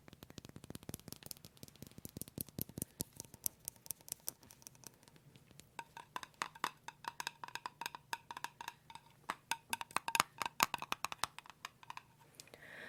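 A jar of no-stir almond butter is tapped over and over in quick, dry, wood-block-like clicks with almost no ring. A dense flurry of taps in the first few seconds gives way to slightly spaced, uneven tapping that carries a hollow tone around 1 kHz, with bright, clicky edges throughout.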